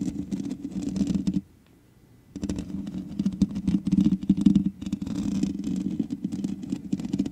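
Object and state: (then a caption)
Metal mesh microphone grille. Both hands scratch the hollow metal mesh grille of a black microphone with long nails, making a dense, rapid scratching and rustling with a strong low-mid hum around 200 Hz. The scratching stops for about a second of near silence, then resumes, growing louder and busier before settling into a steady scrape.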